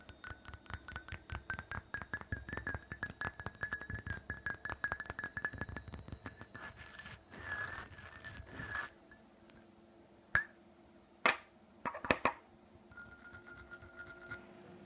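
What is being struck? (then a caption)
Small glass perfume bottle. Long nails tap rapidly on a small, hollow black glass perfume bottle with a glittery textured coating and orange liquid visible through its window, producing a fast run of bright, clicky glass ticks. The tapping gives way to a brief scratchy rasp along the top edge and sides, then a few sharper, louder isolated clinks before it fades to quiet.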